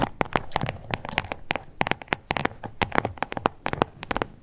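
Long acrylic nails scratch and tap on a small, flat, glossy pink crocodile-embossed faux leather card holder with stitched edges. The result is a rapid run of crisp, dry clicks mixed with soft scratchy rustling, each tap sharp and short with no ring. There are about 24 distinct taps over four and a half seconds.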